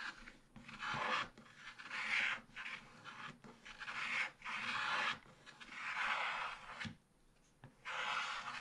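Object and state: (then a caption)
Scratch-art paper page being scraped. A wooden stylus held in the fingers scrapes strokes across a black-coated scratch-art card page, a solid flat sheet in a small spiral book. The result is dry, raspy scratching in bright bursts, separated by brief quiet gaps at an irregular pace.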